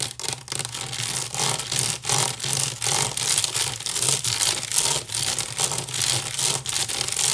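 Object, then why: Woven wicker basket. Long nails scratch fast across the weave of a large, hollow woven wicker basket with both hands. The result is a steady wash of bright, dry scraping in rapid, slightly uneven strokes, with a faint low hum beneath.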